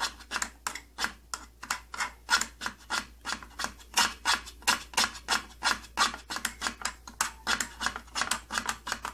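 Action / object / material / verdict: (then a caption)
scrape / thin plastic case panel / plastic / none. Fingertips and nails scratch and rub the thin side panel of an opened, old purple plastic tattoo kit case. About 38 short, bright, rasping strokes follow one another at roughly three per second in a loose, uneven rhythm. Each is a crisp, hissy scrape that stops almost at once, with no low thump.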